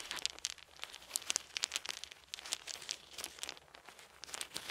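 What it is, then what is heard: Wooden beads clicking. Small solid wooden beads are held in each hand while the fingers roll and click them together. The result is a dense, quiet run of short, dry, bright clicks and rattles with almost no low end, each tick dying away instantly.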